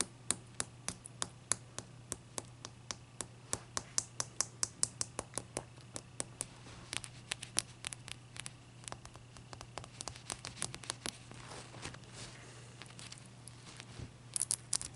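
Long matte dark-purple nails tap and scratch the faces and edges of a large, clear, solid palm-sized ice cube resting on a white towel. A quick run of sharp, bright clicks with almost no ring mixes with soft scratching over a steady low hum, and a final cluster of taps closes the clip.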